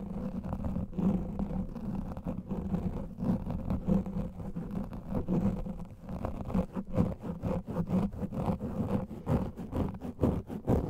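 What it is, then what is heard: Foam microphone windscreen being scratched. Fingernails of both hands scratch fast over a black foam microphone windscreen. The result is a dense, muffled, low rumbling scratch with a steady hum-like body, broken by quick soft strokes that grow sharper and more separated toward the end.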